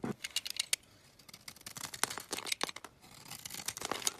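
A metal utility knife blade scrapes and carves powdery flakes off a solid, palm-sized green Dalan olive oil bar soap held in the hand. The sound is a quick series of crisp, dry, bright scraping strokes with a soft hiss between them and no ring after each stroke.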